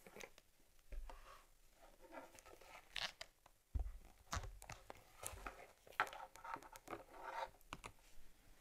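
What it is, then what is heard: Leather camera case. Long nails scratch and tap along the top and edges of a closed, small stitched cowhide case for an Argus C3 camera held in the hands. Quiet, dry scratching and crinkly rasps mix with soft, dull taps and occasional low thumps, each dying away almost instantly.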